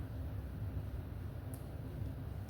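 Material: Nothing is struck.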